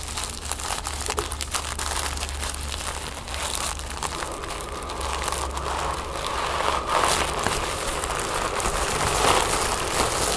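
Fingernails scratch and crinkle a sheet of folded orange tissue paper resting on a wooden table. Dense, dry crinkling and crackling with bright, papery texture runs throughout over a faint steady low hum, growing slightly louder and busier in the second half.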